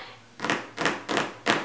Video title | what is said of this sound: How to Cut Patterns with a Rotary Cutter | you can hear how my nails sound much more sharp on it